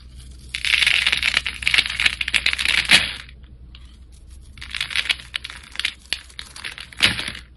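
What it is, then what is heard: Bar soap being scraped. A metal blade scores and scrapes the surface of a solid light-green embossed Old Spice bar soap held in the hand, shaving off thin strands of soap. Bright, dry, crackling scraping comes in a long dense burst, pauses, then returns in a softer run. It ends with one sharp, brief scrape.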